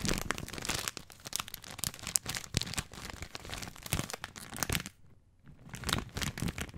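Fingertips crinkle and squeeze the wrapper of a full plastic film bag of dry spaghetti held horizontally, making dense, bright crackling with sharp snaps. The crinkling drops away almost to silence for a moment near the end, then starts up again.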